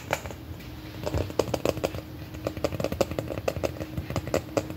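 Long fingernails tap rapidly on a large, hollow red plastic M&M-shaped candy container as it rests on a lap and is then held up. The result is a quick run of short, sharp clicks, each with a hollow tone near 450 Hz and very little ring. A low rumble sits underneath.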